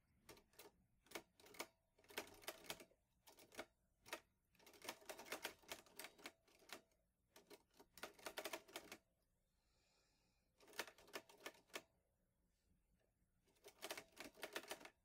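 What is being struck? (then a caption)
Metal portable typewriter keys. Fingertips type steadily on a vintage teal metal Underwood Olivetti Lettera 22 portable typewriter with paper loaded. Rapid bursts of sharp, bright key clacks with very short decay are separated by brief quiet pauses.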